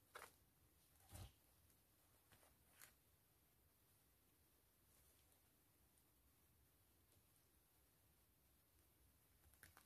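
Long glittery nails tap and scratch the front of an empty, flat tan Prima Classe wallet made of coated canvas with leather trim and printed with a world map, lying on a surface. Five soft, dry taps stand out over a low, steady scratching hiss, and the taps die away almost at once.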